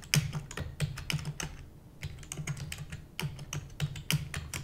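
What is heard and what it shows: A full-size black plastic computer keyboard with hollow keys is typed rapidly with the long nails and fingertips of both hands. The result is a fast, uneven stream of sharp, bright clacks over a hollow low thump from the keys. Each stroke dies away almost instantly, with a brief lull just before the two-second mark.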